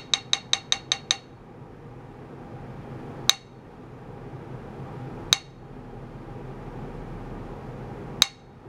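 A small wooden mallet taps a flat, thin, solid metal plate, roughly A4 size, that is clamped to a green bench with blue clamps and has a cylindrical ultrasonic transducer and a paper square resting on it. Six quick taps come first, followed by three single taps spaced seconds apart, nine in all. Each tap gives a bright, high clink centered near 3.8 kHz that dies away almost instantly over a steady low background hum.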